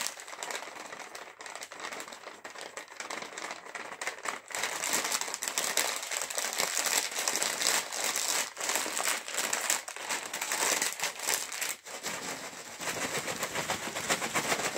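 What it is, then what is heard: Foil chips packet. A sealed, full, air-filled green metallized plastic chips packet is tapped and squeezed with fingertips, crinkling the foil. The result is a dense, bright, crackly crinkle that stays fairly soft for the first few seconds, then grows louder and busier, with brief pauses.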